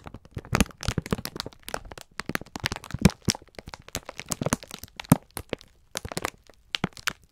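A clear plastic-wrapped pack of sponge scourers is held in both hands while the fingertips squeeze and rub it. Dense, irregular crinkling and sharp crackles of the plastic film run throughout, with a few louder snaps standing out.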